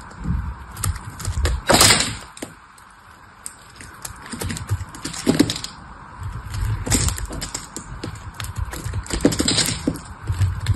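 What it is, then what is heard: Bar of soap being carved. A small metal blade cuts and scrapes pieces off a solid, partly carved cream bar of soap. It makes a run of crisp, crackling cuts and dry scrapes with soft low thuds underneath, several louder bright bursts standing out from a steady gritty hiss.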